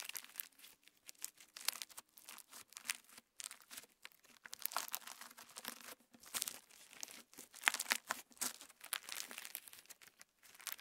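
Clear slime with plastic star sequins is held between both hands, and fingertips stretch it into a band and press it together. The result is a dense run of quiet, bright crinkling and crackling with short sharp snaps and no low end.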